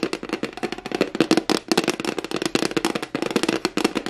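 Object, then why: Flat plastic tray. Long glittery nails and fingertips rapidly tap and scratch the flat surface of a flat white plastic tray held up in the air. The result is a fast, dense stream of sharp, dry clicks with a hollow plastic tone around 320 Hz, scratchy bright edges, and almost no ring after each hit.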